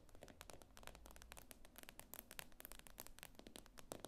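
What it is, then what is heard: Glass tablet screen tapped with nails. Long acrylic nails tap and scrape quickly across the glossy glass screen of a tablet lying flat on a table. The result is a quiet, dense run of sharp, dry clicks and brief scratches with bright edges, each dying out instantly over a low, steady rumble.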